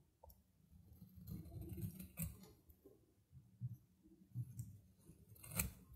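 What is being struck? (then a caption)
Soap bar scraped with a metal knife. A metal knife scrapes thin curling shavings off a narrow stick of solid dry soap with a red outer layer, held in the fingers. Soft, low, rasping scrapes come in bursts, with a few sharper crisp clicks that carry bright edges, and each one stops short with almost no ring.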